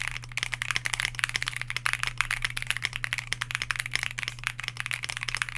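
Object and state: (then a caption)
Mechanical keyboard with plastic keycaps. A white Bakeneko60 60% mechanical keyboard with a plastic case, FR4 plate, lubed KTT Grapefruit linear switches and PBT dye-sub keycaps sits on a desk mat while the fingertips of both hands type rapidly. The result is a fast, dense stream of short, bright plastic clacks that stop almost instantly, with a faint steady low hum underneath.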